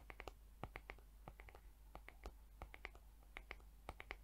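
Long acrylic nails tap and scratch the flat back of a mint-green plastic hair brush head with rainbow plastic bristles. About twenty quiet, crisp clicks follow one another in an uneven rhythm, each dying away almost instantly over a faint low hum.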